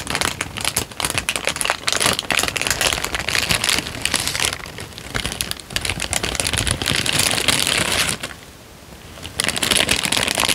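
A single thin, peach-colored sheet of paper, roughly letter size and already creased, is held in both hands and crinkled and flexed with the fingertips in front of the microphone. It makes dense, bright crackling and crinkling that runs almost continuously, with a quieter lull at about 8 to 9 seconds before the crinkling resumes.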